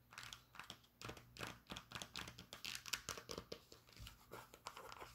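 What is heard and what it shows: Long nails scratch and tap the brown suede strap and the rubber sole of a Birkenstock sandal with a cork footbed. The result is a quick run of soft, bright, crinkly scratches and dull taps.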